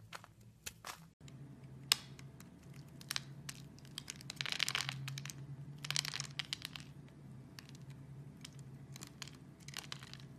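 A metal utility blade scores a solid purple soap bar held over a wooden surface into a grid, with small cubes breaking loose. Quiet, bright crisp scrapes and crumbly crunches come in rapid bursts over a low steady hum, with louder crackling stretches in the middle.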